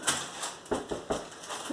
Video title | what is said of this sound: Cooking with Mr Capp - Baking Simple White Bread | give it a knock on the bottom to see if it sounds hollow. It does.